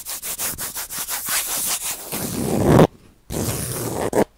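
Fingertips and palms rub and scratch across the ridged woven bamboo-sheath face of a round, palm-sized Japanese baren, a flat printmaking rubbing disc held in both hands in front of the mic. About nine quick, bright scratchy strokes run into a continuous, fuller rubbing that swells louder, breaks off into a short silence, then resumes. It ends with one last brief scrape.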